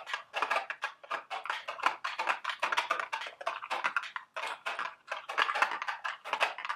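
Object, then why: Small cardboard candy box. A small, hollow, printed cardboard candy box shaped like a milk carton is held in the hands and tapped and scratched with long, sharp acrylic nails. The result is a rapid, continuous stream of dry, papery clicks and scratches with a crisp, bright edge. There is almost no low end, and each tap ends quickly.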